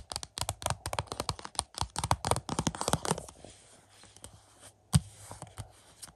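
Fingertips scratch and tap the front of a Family Plot 4K UHD movie case, a hollow plastic case with a glossy cardboard slipcover, resting on a carpet. A rapid run of dry, papery taps and scratches with a low hollow thump fills the first three seconds, then eases into softer, sparser taps broken by one sharp, louder tap near the five-second mark. Each hit dies away almost instantly.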